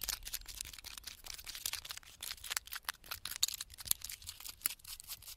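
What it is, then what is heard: Pine bark scratched by fingernails. Fingertips and nails scratch across the thick, flaky bark of a large, solid pine trunk standing in a forest. The result is a quiet, dense run of short, dry, bright crackling scrapes with almost no low end and no ring after each stroke.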